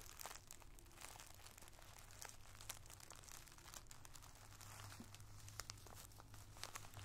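A clear plastic zip-top bag full of multicolored tissue paper squares is pressed flat by hand while a wooden drumstick pencil taps and scratches across it. Quiet, dense crinkling and sharp little clicks with bright, scratchy detail run throughout, over a steady low hum.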